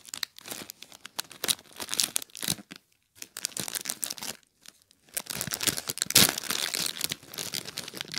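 A small clear plastic bag full of popcorn is pressed and rubbed with flat fingers and fingertips, giving bright, dense crinkling and squeezing bursts. The bursts come irregularly, with brief pauses near 3 and 4.6 seconds, and the loudest crackle arrives around 6 seconds.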